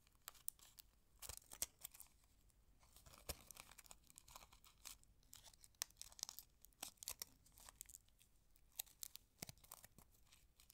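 A small, thin, empty purple flowered aluminium foil candy wrapper with a silver inner side is held close and crinkled and folded by fingertips with long red nails. Quiet, bright, crisp crackles and sharp snaps come in irregular bursts over a soft hiss, with little low-end weight and no ring after each snap.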